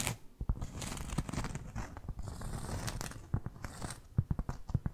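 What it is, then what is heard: Cork trivet scratched with nails. Long fake nails scratch across a solid, round, flat cork board trivet held close to the mic, giving a dry, crackly rasp with a deep, close low end. The scratching runs in a steady stream through the middle, then breaks into quick, sharp scratches and taps toward the end.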